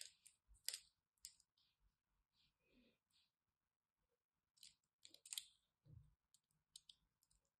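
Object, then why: Bar of soap. A solid orange and white striped bar of soap is scored and scraped with a craft knife. Quiet, bright, crisp clicks and short scratchy scrapes come in irregular bursts with near-silent gaps between them, each fading almost instantly.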